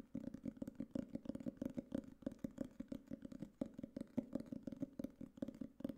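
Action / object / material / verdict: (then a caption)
tap / hardcover notebook cover / cardboard / none. A black hardcover notebook or book case, about book size with a textured coated cardboard cover, is held upright in both hands and tapped on its cover with fingertips and nails. A rapid, irregular run of dull, hollow taps sits in the low-mid range, each one stopping almost instantly with no ring.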